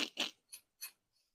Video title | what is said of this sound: Tortilla Espanola and Papas Bravas I Tapas Series | they're so nice and crispy